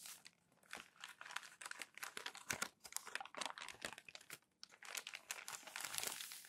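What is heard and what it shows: Thin newsprint newspaper pages are crumpled and then pressed flat with palms and fingers, making dense, bright crinkling crackles and papery rubbing. The sound is quiet and almost entirely high, with short, sharp snaps that die away quickly and no low rumble.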